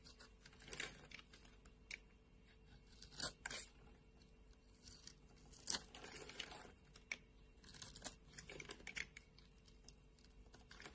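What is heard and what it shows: A solid white bar of soap is held in the hand and scraped with a flat metal blade, with flakes falling into the palm. Quiet, bright, crisp scraping and crunching strokes come in short bursts, each stopping dead with no ring.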